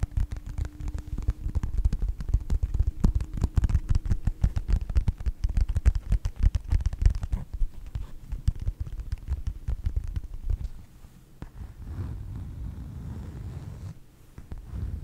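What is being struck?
Faux leather wallet.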